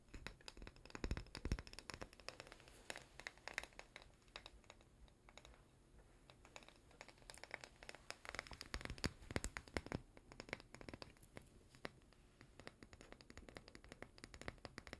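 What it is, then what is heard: Small glass jar with plastic lid. Fingernails scratch and tap the label and white plastic lid of a small glass chocolate-spread jar held close in both hands. The result is a quiet, irregular stream of dry clicks, crackles and scratchy rustles, with short bright taps.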